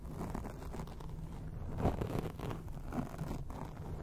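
Long acrylic rainbow nails on both hands scratch a soft, porous black foam windscreen on a round microphone, with the microphone itself as the sound source. It produces a steady, muffled rustling scrape that is mostly low rumble with little bright content, swelling slightly in places.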